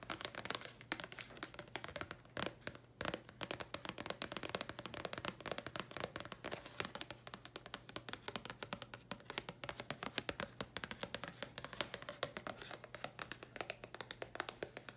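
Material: Paper card.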